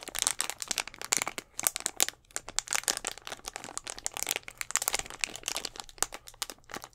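A clear plastic Gatorade bottle, hollow with a little blue liquid inside, is held upright in front of a microphone and squeezed and tapped with the fingertips and nails of both hands. The result is a dense, continuous run of quick, bright crinkles, crackles and clicky taps with almost no low end. Each tap dies away almost instantly.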